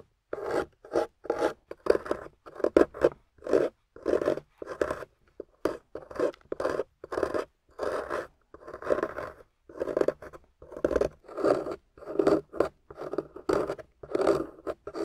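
A hand-sized, water-soaked solid clay bar painted gold with beige clay inside is held in the hand and carved by scraping with a metal loop tool, with shavings falling away. A steady series of short, rasping scrapes follows, each a dry, gritty stroke with a mid-range body and a bright hissing edge, separated by brief pauses.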